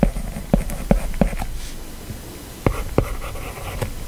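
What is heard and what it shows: A plastic Apple Pencil stylus writes handwriting across the flat glass touchscreen of an iPad lying on a desk, moving in continuous strokes with small taps and a rubbing, scratching action. Seven short, dull, low-pitched taps stand out over a soft, steady scratch of the tip gliding on the glass. Each tap dies away almost at once.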